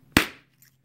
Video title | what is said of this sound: Flintknapping Large Biface Spalling Knife from Novaculite Greg Malone | we should hit more hollow sound. Hear that more hollow sound?